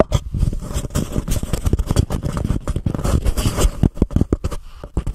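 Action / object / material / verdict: scrape / paper cup / paper / none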